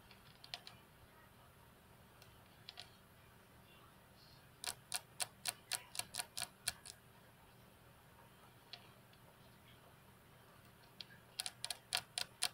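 Long fingernails of one hand tap on the flat, solid glass tabletop of a computer desk. Scattered single taps give way to quick runs of crisp, bright clicks with almost no ring, over a soft background hiss.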